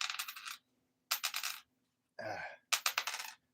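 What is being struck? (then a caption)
Copper penny dropped on wood. A copper penny is dropped repeatedly onto hard wood in a ping test, each drop giving a quick burst of bright, high metallic pings as it bounces and settles, with one duller, lower-pitched burst in between. The ring confirms it as the copper penny.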